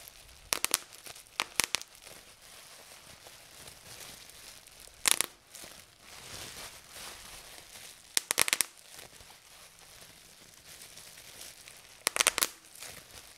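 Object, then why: Plastic bubble wrap. Fingertips and nails pinch and pop the air bubbles in clear plastic bubble wrap resting on a table. Sharp, bright pops come in several tight clusters, with quiet crinkling of the plastic between them.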